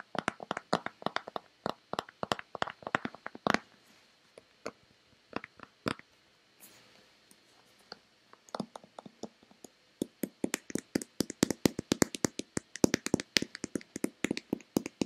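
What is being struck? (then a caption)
Hand-sized plastic lotion bottle. A hand-sized, oval, hollow white plastic Nivea lotion bottle, likely partly full, is tapped and scratched with long red-painted nails. Dense bursts of quick, dry clicking taps with short scratches fill the clip, pausing briefly around the middle before resuming in a fast, busy run.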